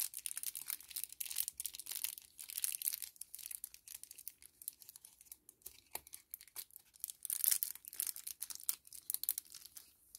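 A small, flat 10 ml kraft paper-plastic laminate sachet is held in both hands and crinkled and bent with the fingers and thumbs. It gives a quiet, steady stream of bright, crisp crackles and papery crinkles with no low end, each snap very short. The texture rises and falls in dense bursts throughout.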